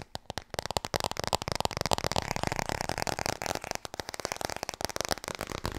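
Fingers tap rapidly on the hardcover of the book "Klaar voor bed." The taps are quick, dry, overlapping knocks with a hollow midrange body and bright clicky edges, each dying away almost instantly. They run as a continuous, uneven patter through the whole clip.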